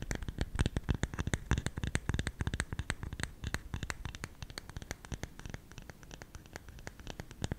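Fingernails scratch and tap on the top of the lid of a round, hollow, lidded bamboo salt container. The result is a rapid, irregular stream of short, dry clicks with a low, hollow thump beneath them, growing somewhat softer in the second half.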